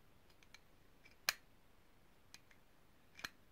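Long painted nails tap and scratch a small hollow, cylindrical, ridged brass herb grinder held in both hands. Four short, bright metallic taps stand out, with fainter clicks and light scratching between them against a quiet background.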